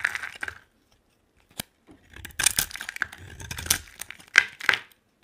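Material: Soap.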